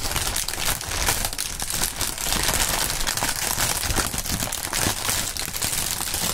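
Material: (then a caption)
Plastic film. Both fingerless-gloved hands crumple a thin, partly inflated sheet of clear plastic air-pillow packing film with green print, working it with the fingertips while holding it above a mat. The result is a steady, dense, bright crinkling and crackling with a faint low rumble underneath.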